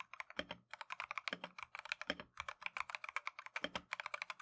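Rapid typing on a full-size plastic Keychron V1 mechanical keyboard with Tangerine switches and green and cream Matcha PBT XDA keycaps, resting on a desk mat and pressed by gloved fingertips. About 36 quick, bright click-clack keystrokes run in a steady stream, with a few deeper thuds mixed in and each tap dying away almost instantly.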